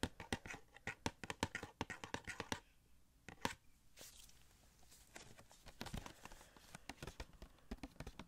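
A small, hollow cardboard The Flash Funko Pop box with a clear plastic window and the figure inside is held and tapped with fingertips and nails on its sides and window. Quick, dry, clicky taps come in dense bursts for the first couple of seconds, then a quieter scratchy stretch, then more scattered taps to the end. Each tap dies away almost at once, with no ring.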